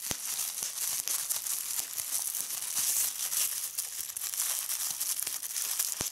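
A small gathered piece of clear plastic bubble wrap is held in both hands while fingertips with red-painted nails squeeze and pop its bubbles. Bright, hissy crinkling runs throughout, cut by sharp high pops that stand out at several points.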